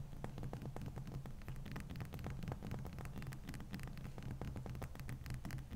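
Long manicured fingernails tap and scratch a large, solid, dome-shaped block of clear frozen ice resting on a towel. A rapid stream of sharp little clicks and scrapes runs over a steady low hum and rumble that fills the background throughout.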